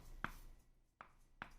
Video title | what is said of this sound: Pressure Canning Beef With A Special Guest ~ BEST Way To Preserve Meat! ~ #foodstorage | you hear that it didn't seal